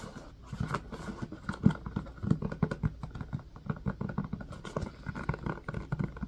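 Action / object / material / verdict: tap / silicone ice cube tray in a plastic frame / silicone / none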